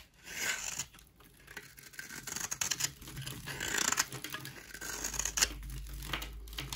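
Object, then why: Bar soap scraped with a knife blade. A solid white Dalan rectangular bar of dry soap, held in the hand, is scraped with a utility knife blade into dry flakes. The clip is a run of bright, crisp scratching and shaving strokes that swell and fade in uneven bursts, with very little low end and no ring after each stroke.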